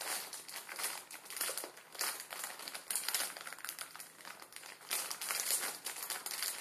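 A plastic film ramen packet with noodles inside, resting on a wooden table, is pressed and crinkled with the fingertips. The result is a dense, bright, steady crackling crinkle with no low end, swelling louder in bursts as the film is squeezed.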